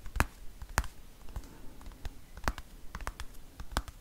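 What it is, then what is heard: Plastic cosmetic tube. Long nails tap rapidly on a dark green plastic squeeze cosmetic tube held close to the microphone. Sharp, short clicks with bright edges come at an uneven pace over a soft scratchy rustle, each one dying away almost at once.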